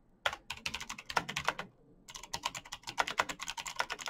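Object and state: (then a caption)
Mechanical keyboard with clicky switches. Fingertips type fast on a black backlit mechanical keyboard with plastic keycaps and clicky green switches. Sharp, bright clicks come in quick bursts, with a short pause near the middle. Each keystroke is crisp and dies away almost instantly.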